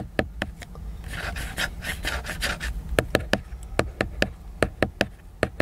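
Fingertips and nails tap and scratch the cover of a large, glossy, laminated cardboard hardcover book that is solid and flat. A few sharp, dry taps give way to a stretch of soft, brushy scratching, then a quick run of crisp, bright taps returns. Each tap dies away almost instantly.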